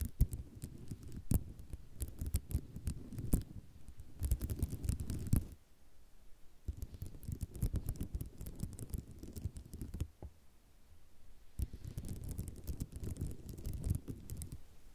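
A flat sheet of small white square ceramic mosaic tiles lying on black cloth is tapped and scratched with long nails using both hands. Dense, fast clicks and rattling scrapes come in bursts, with sharp bright ticks over a soft low rustle and a few quieter pauses between the busy stretches.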